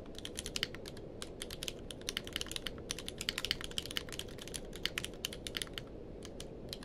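Both hands type with their fingertips on a grey-blue tenkeyless mechanical keyboard with plastic keycaps, resting on a blanket. A steady stream of quick, bright, clacky keystrokes with very short decay sounds over a constant low background hum.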